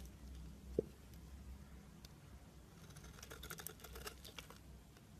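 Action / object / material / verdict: scrape / bar of soap / soap / none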